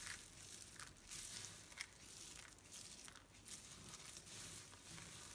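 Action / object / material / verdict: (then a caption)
scrape / pile of soap shavings / soap / none. A spread-out pile of dry pastel soap flakes is pressed with flat palms, squeezed in fists and raked with fingertips. The result is a steady, bright crunching and crinkling with dry, crackly bursts and little low end.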